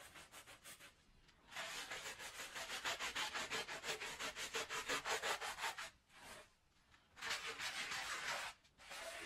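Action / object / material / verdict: scrape / wool pile rug scrubbed with a plastic bristle brush / wool / none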